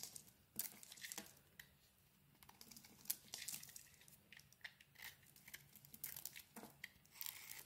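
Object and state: Bar of soap being scraped.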